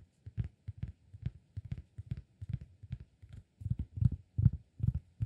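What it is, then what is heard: Cork disk. A round, flat, solid cork disk is tapped with fingertips on its face and edge. About twenty soft, dull, low thuds come quickly at an uneven pace, with almost no ring after each. The taps grow louder toward the end.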